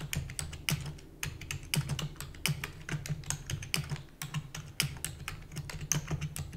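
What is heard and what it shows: Long natural nails and fingertips type rapidly on a full-size black plastic computer keyboard with hollow keys. The result is a fast, uneven stream of short, dry clicks and taps, each with a hollow low thump and a bright clatter on top. Brief pauses break up the flurries of keystrokes.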